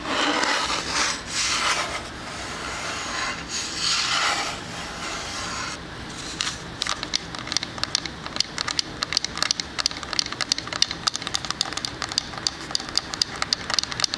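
A small square wooden shadow-box sign with a plank face and white frame is held in one hand while fingernails and fingertips scratch the wooden slats in bright, hissy rubbing swells for the first six seconds. Then the fingers switch to quick, sharp tapping: a dense run of crisp, dry clicks with almost no ring that continues to the end.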